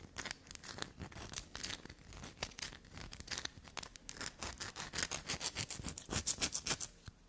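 Long black nails quickly scratch and tap a solid black soap block held in the hand. The result is a fast, irregular stream of dry, bright scratches and crisp taps, with short bursts that grow louder and sharper toward the end.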